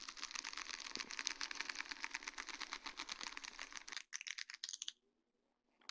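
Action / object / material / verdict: tap / sheet of small acrylic rhinestones on plastic mesh / acrylic / none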